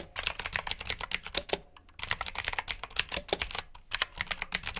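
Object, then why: Plastic mechanical keyboard. Fingertips with short nails type on a full-size black plastic mechanical keyboard with RGB backlit keycaps, clicky blue switches and hollow key housings. A rapid run of sharp, bright clicks comes in bursts, with a brief pause near the middle before the typing resumes.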